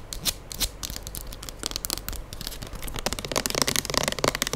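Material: Plastic.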